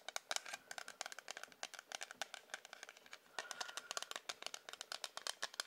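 A hard plastic ruler is tapped in quick, irregular bursts, producing dry, bright clicks with no low end. Each click stops almost instantly, and the taps run together into rattling flurries through the clip.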